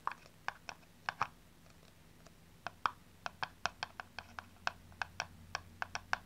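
Long nails tap and scratch the flat top and sides of a small, hollow blue plastic aerosol cap. About 23 short, dry, clicky taps come in irregular bursts, each with a bright, hollow tone near 1.2 kHz and almost no ring. The taps sit over a quiet, low background hum.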